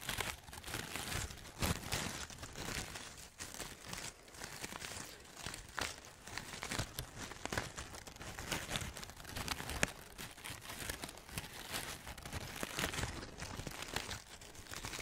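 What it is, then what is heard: Artificial fabric maple leaves being crinkled. A bunch of thin, light artificial fabric maple leaves, fake autumn leaves, is rubbed and crinkled by fingertips and long nails close to the mic. A dense, continuous bright crinkling and rustling runs throughout with quick crunchy snaps, swelling and easing in loudness for the whole fifteen seconds.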